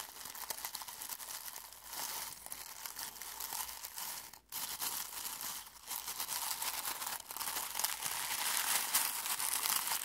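Fingertips dig into dry, brittle rose petals in a small clear glass bowl held in one hand, crumpling and rubbing them. The result is a steady, bright, crackly crinkling with almost no low end, broken by a brief near-silent pause around the middle. The rustling grows slightly louder toward the end.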